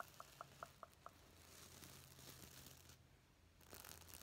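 Fingertips brush and scratch up and down over the plastic sequins of a gold and black reversible sequin pillow held upright, flipping them. Six sharp, tonal clicks open the clip, followed by a soft, continuous scratchy rustle over a faint low hum. The rustle briefly drops away, then returns brighter at the end.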